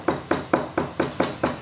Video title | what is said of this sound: Preparing a Depression-era Table For Sale | And if you tap your finger, you hear that solid thud.